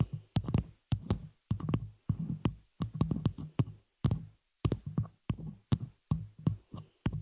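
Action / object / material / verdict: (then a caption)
tap / metal microphone shock mount / metal / none. Long nails on both hands tap and scratch the hollow, open frame of a small metal spider-cage shock mount holding a microphone. Rapid clusters of sharp, dry clicks with bright tips sit over a heavy, low thumping body, with short silent gaps between bursts. Each hit dies almost instantly, with no ring.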